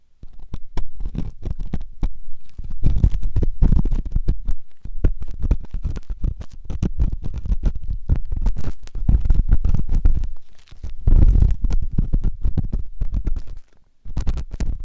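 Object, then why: Silicone ear microphone scraped with a steel ear pick. A flat stainless steel ear pick scrapes inside the ear of a white silicone ear-shaped microphone, producing dense, close, low-heavy scratching and crackling with many rapid short strokes. The scraping runs almost continuously, with a brief lull near 10.7 seconds and a short silence just before 14 seconds before it resumes.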